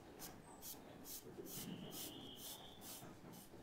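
A thin charcoal stick is scratched across a white paper sketchbook resting on a table, drawing leaf details in short strokes. Quiet, dry, bright scratching bursts repeat at a quick, uneven pace over a low background hum, with a faint thin tone drawn out through the middle.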